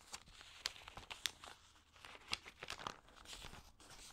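Fingertips press and rub the crinkly, damp pages of an open, thin paper magazine and turn them. Bright, dry crinkling and crackling comes through in quick bursts, with sharp snaps that die away at once. The sound stays high and thin, with almost no low end.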